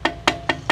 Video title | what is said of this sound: Chậu rồng xưa, Bình bông gốm Nam bộ GLTQ ngày 10/6 - Thanh Triệu | có gân tóc là mình gõ nó cái âm thanh nó rất là khác luôn nha